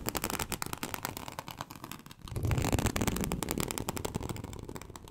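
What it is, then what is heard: Snakeskin-embossed leather sheet being scratched. Long acrylic nails scratch across a large, flat, teal snakeskin-embossed leather sheet, producing a rapid, irregular run of dry, crackling scrapes. The texture sounds sharp and clicky through the first two seconds, then grows louder and fuller with a deeper rasping rumble before easing off toward the end.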